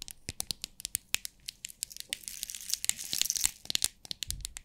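Long nails tap and scratch the lid of a small clear plastic compartment box holding rhinestones, and the box is held up and shaken so the stones rattle inside. The result is a quick series of sharp, bright, dry clicks with almost no low end, thickening in the middle into a denser, hissy rattle before separating into crisp taps again.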